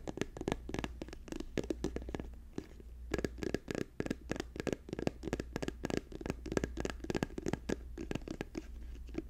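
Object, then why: Soft plastic squeeze tube. Fingertips and nails tap fast on a hand-sized, apparently filled orange and white soft plastic lotion or sunscreen tube held in the hands. The result is a rapid, uneven run of short, dull, muffled taps with sharper nail clicks, each dying away almost instantly, over a steady low hum.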